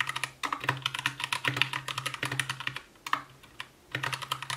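Both hands' fingertips type continuously on an Anne Pro 2 60% mechanical keyboard with white plastic keycaps, a translucent case, RGB backlight and Gateron brown switches. The result is a rapid stream of short, bright plastic clacks, with brief pauses before the typing resumes.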